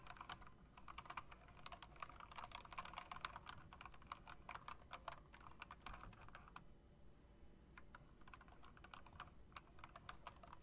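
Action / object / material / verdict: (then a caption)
tap / plastic and metal mechanical keyboard / plastic, metal / none. Long dark nails and fingertips press and tap rapidly on the round chrome-rimmed plastic keycaps of an RGB-backlit typewriter-style mechanical keyboard, with the keys mounted on a metal plate in a hollow housing. The result is a dense, steady stream of quick clicky clacks, each with a bright mid-range snap and almost no ring. A low background rumble sits underneath.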